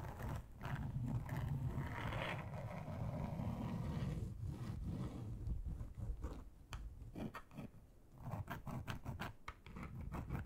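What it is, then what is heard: Textured plastic board. Long acrylic nails scratch slowly and deeply across a large, flat grey plastic board with a fine textured surface, a solid thin sheet resting on a table. The sound is a steady, low, rasping scrape that breaks into shorter, bright-edged scratch strokes toward the end.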